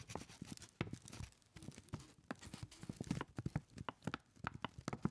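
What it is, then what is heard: Paper bag tapped by fingertips. A crumpled brown kraft paper lunch bag, hollow with its top folded and held in both hands, is tapped rhythmically by fingertips. The result is a quiet, rapid series of dull, low, hollow taps with a faint papery crinkle, forming an uneven clip-clop-like rhythm. Each tap dies away almost instantly.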